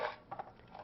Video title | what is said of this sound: Overview of Drying | berries should be dried until they rattle when shaken